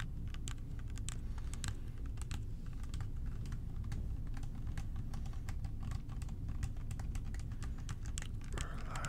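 Fingertips tap the body of a clear plastic bottle whose lower half is filled with purple liquid, making a quick run of short, crisp clicks at varying speeds. The taps sit over a steady, heavy low rumble, and a brief hiss rises near the end.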